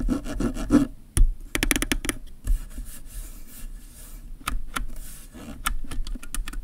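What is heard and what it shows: Fingertips and nails scratch and rub the ridged ring of a black plastic kit lens mounted on a DSLR camera. Dry, raspy rubbing is broken by irregular bursts of short, sharp scratches and clicks that die away almost instantly, with most of the energy low and a thin bright edge on each stroke.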